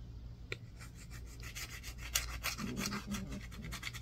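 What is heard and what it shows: A solid green bar of soap is scraped with a yellow-tined, wooden-handled tool and turned between strokes. Quiet, bright, raspy scratches repeat in short, uneven strokes over a steady low hum, with a sharper scrape standing out near the middle.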